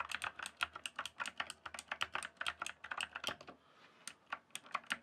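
Fingertips type on the keys of a full-size backlit plastic RGB computer keyboard. A quick run of short, bright plastic clicks and clacks with almost no low end, each dying away almost at once. The typing pauses briefly around the three-and-a-half second mark, then resumes with a few more scattered keystrokes.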